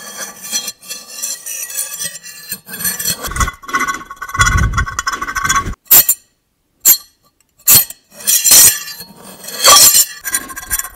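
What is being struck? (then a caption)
Ceramic dinner plate and metal fork. The tines of a metal fork are scraped across the glazed surface of a large, flat white ceramic dinner plate held upright in both hands, at one point held against the cheek. Harsh, bright screeching scrapes with a sustained squeal around 1.2 kHz alternate with sharp clinks. The clip ends in a few short, loud bursts separated by brief silences.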